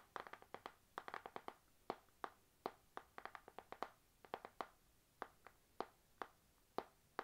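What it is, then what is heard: Spiral notebook with glossy cover. Long nails tap on the glossy laminated cover of a panda-print spiral notebook that is held up, producing an uneven run of about thirty quick, quiet clicks. Each tap is a crisp, papery knock centered in the midrange around 770 Hz that dies away almost instantly. The taps come in clustered flurries and then space out into slower, separate strikes.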